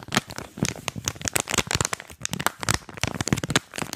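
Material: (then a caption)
Plastic, cardboard. A small earphone retail package, a printed card backing with a clear plastic blister, is held in both hands while the plastic is crinkled and squeezed and the card is scratched with fingers. Dense, rapid crackling and crinkling bursts with bright, scratchy highs continue without pause. A few sharper snaps stand out against a softer, papery low rustle.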